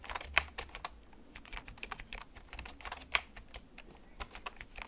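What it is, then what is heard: Plastic mechanical keyboard. Fingertips type slowly on a black plastic backlit mechanical keyboard, first tilted and then held upright. Its keys give sharp, bright clicks with very short decay, and two louder clacks stand out against the steady tapping.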